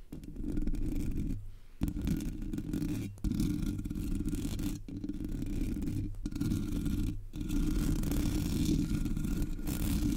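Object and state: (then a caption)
Metal mesh microphone grille being scratched. Long nails scratch the top of a Blue Yeti microphone's black, hollow metal mesh grille. The result is a continuous, dense, low-heavy rasping scrape with a few brief pauses, close and steady in level throughout.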